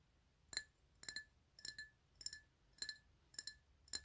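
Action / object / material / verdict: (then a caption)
tap / glass drinking tumbler / glass / none. Fingernails tap the upper side of a black PlayStation drinking glass, a hollow, empty tumbler held on its side. Short, bright clinks come in quick pairs at a slow, uneven pace. Each one dies away almost at once.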